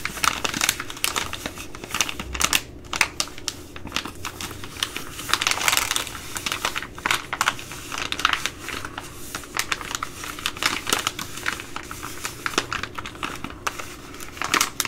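A Ready Rice plastic laminate pouch is scratched with long nails and crinkled between the hands. It makes a dense, steady run of sharp, bright clicks, scratches and crinkles that die away almost instantly. Brief louder bursts of crinkling stand out through the clip.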